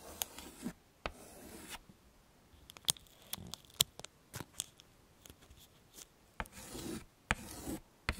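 A stick of yellow chalk is scraped across a small, flat black chalkboard in a wooden frame as it traces letters. Quiet, bright scratchy strokes alternate with sharp, crisp taps and brief pauses, with no ringing afterward.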